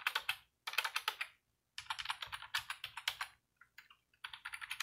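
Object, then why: Plastic computer keyboard. Fingertips and short nails tap quickly across a slim white plastic computer keyboard with hollow keys, lying on a desk, with both hands typing. Bursts of bright, crisp clicks come in quick runs separated by brief pauses, each click short and dry with almost no ring.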